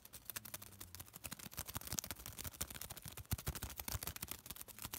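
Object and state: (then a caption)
Crinkled thin paper. A small folded piece of thin white paper is held between the fingertips of both hands and crinkled and rubbed. It makes a fast, dense stream of sharp, bright crackles with dull low thumps underneath, each snap dying away almost instantly.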